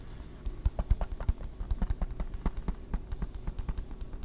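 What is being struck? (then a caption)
Hard plastic video game case. A closed, hollow, hard plastic PS3 game case is held in the hands and tapped and scratched with fingertips and nails. Quick, dull, low-weighted taps come in an uneven, rapid patter, each dying away at once with no ring, over a faint scratchy hiss.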